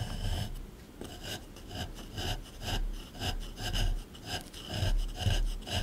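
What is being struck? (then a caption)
Plaster dig block scraped with a small metal tool. A small flat metal scraper scrapes and chisels the hard surface of a solid plaster dinosaur dig block sitting in a plastic tray. Rough, gritty rasping strokes repeat in an uneven rhythm of about two per second, each with a dull low knock under a bright, crumbly scratch.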